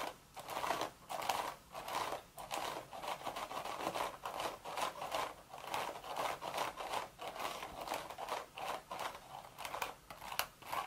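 Long, sharp red nails scratch the woven crown of a cream straw hat with a hollow crown. Dry, crinkly scratching strokes repeat in quick, separate bursts, with a papery rasp centered in the midrange and a bright hiss on top. There is almost no low end and each stroke fades quickly.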